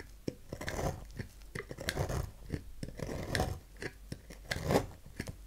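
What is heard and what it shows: A dark knife blade cuts and scrapes the corner of a solid rectangular lilac bar soap on a table, shaving it into curls. The sound is a series of irregular, crisp cuts and short scrapes, each a quick bright click over a soft rasping hiss with a dull low body, dying away almost at once.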